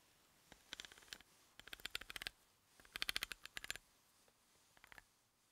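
A wooden pencil tip taps and scratches along the threads of a large, solid threaded steel bolt resting on a table. Quiet bursts of rapid, bright ticking clicks come in four clusters, each tick dying away almost instantly, with a high, thin tone centred around 3.2 kHz.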